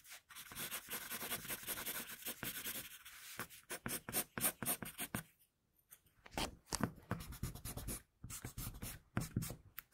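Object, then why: Wooden pencil on paper sheet. A wooden pencil tip draws and scratches lines across a sheet of flat drawing paper, producing quick, dry, bright scratching strokes in rapid bursts. The strokes run steadily, pause briefly just past the halfway point, then resume with sharper, more separated scratches.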